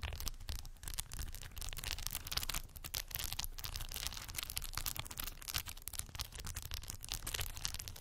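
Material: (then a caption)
Plastic. Long white acrylic nail tips rest on and tap faux plastic pearl beads covering a small, solid cork board. The result is a steady stream of quick, bright, crisp clicks and rattles over a low, dull undertone, with no lingering ring.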